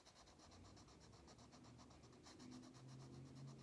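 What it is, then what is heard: Crayon coloring on a paper page. A pink wax crayon held in the fingertips rubs in fast strokes across an open paper coloring book page lying flat on a table. The result is a quiet, steady scratchy rubbing with a loose rhythm of stroke pulses and a faint bright hiss. Faint low tones rise slightly toward the end.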